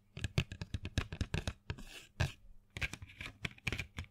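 A small printed cardboard box full of colored pencils is held in the hand and tapped and scratched with long fingernails. Quick, dry, close-up taps each carry a low thump and a brief bright click. Between them come softer hissing scratches across the box surface, especially midway through.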